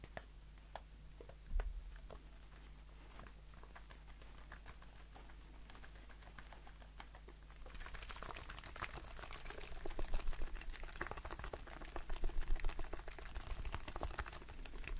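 Fingertips and short nails tap quickly along the body of a hollow, pressurized blue aluminium shaving foam aerosol can held in the hand. For the first half, sparse light ticks sit over a steady low hum. Then the tapping becomes a dense, fast, bright patter that swells in loudness toward the end.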